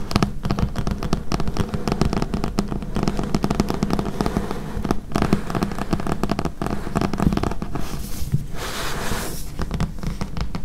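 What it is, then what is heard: Thick paperback book. Long painted nails tap and scratch the glossy card cover and edge of a thick, solid paperback book with paper pages, lying on a table. The tapping comes as a fast, dense run of short, crisp clicks with a low, full body, and a brighter, hissy scratching stretch near the end.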